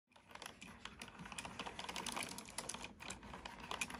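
Fingertips with short natural nails type steadily on a full-size black plastic computer keyboard with hollow plastic keys resting on a wooden table. The result is a continuous stream of rapid, bright, clacky keystrokes that stop short with almost no ring, plus a light low thud beneath.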